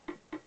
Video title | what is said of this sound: Montage d'un convertisseur IMPULSOPHONE à vis sur un téléphone ancien S63 SOCOTEL | ça sonnera mal vous aurez pas le tintement clair